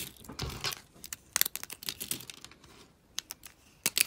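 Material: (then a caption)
Soap. Small, brittle pastel shards of dry soap are snapped with the fingertips and crushed in a fist. The result is a quick, uneven run of dry, crisp crunches and sharp, bright snaps with almost no low end, and each crack stops short with no ring.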